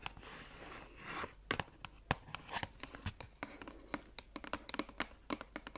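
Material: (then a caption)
Cardboard. Long acrylic nails scratch and tap a small, closed, red printed cardboard bath-product box held close to the mic. A soft, continuous scratching runs for about a second, then gives way to a quick, irregular series of sharp, dry taps with bright clicky edges. Each tap stops almost instantly, with no ring.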